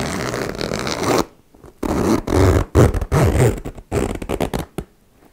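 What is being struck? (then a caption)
Metal zipper on faux leather pouch. A metal zipper on a small turquoise embossed faux leather cosmetic pouch is opened and then zipped closed, with long-nailed fingers dragging the slider along the metal teeth. A steady, rough zipping rasp runs for over a second, then after a pause comes a series of short, uneven zip strokes and clicks with a low, raspy body.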